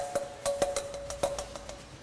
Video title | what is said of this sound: Luxury Soundproofing with AutoFOAM: KL Auto on In Gear | sounds dead now that is exactly what the dampening which is stuck onto the back of this plate is meant to do